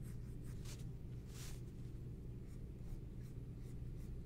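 A green-barrel pencil held in the fingers scratches across a large sheet of white drawing paper lying flat on a table, drawing and shading a graphite portrait. Quiet, airy, high scratching strokes come in short bursts over a steady low hum.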